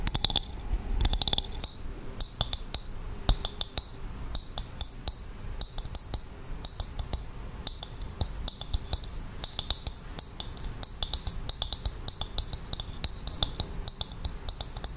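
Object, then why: Dried coconut shell half. A hollow, empty dried coconut shell half is held up and tapped on its outer surface with long acrylic nails. Quick, bright clicking taps come in irregular clusters, each dying away almost at once, over a faint low rumble.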